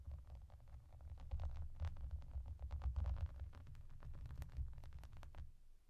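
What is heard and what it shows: Long dark nails tap and scratch across the small raised hollow bubbles of a clear, soft plastic bath mat decorated with yellow duck shapes. The result is a rapid, steady stream of short, crisp plastic clicks and light scratches over a quiet, constant low rumble. The clicks come closely spaced, with a few brighter, sharper taps toward the end.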